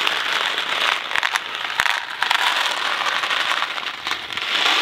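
A hand-sized, thin cardboard Kraft macaroni & cheese box filled with dry pasta is held in the fingers and shaken, making the macaroni rattle inside the hollow box. The result is a steady, dense, bright rattling with sharp clicks and almost no low end, occasionally swelling and dipping as the shaking changes.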